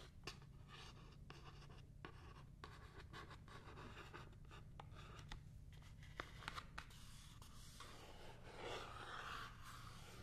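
Long painted nails scratch and tap the flat printed surface of a small cardboard Paula's Choice Clear Skin Essentials box held in both hands. Soft, dry scratching runs throughout with sharp, bright taps scattered across the clip over a steady low hum.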